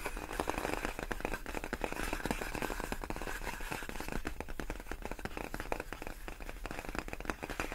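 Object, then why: Inflated plastic air-column packaging. Long nails on both hands tap rapidly across large, clear, inflated plastic air-column cushion wrap made of hollow air-filled tubes. The result is a steady stream of crisp, dry clicks over a hollow, low, muffled thump, each tap dying away almost instantly, continuing without a break for the whole clip.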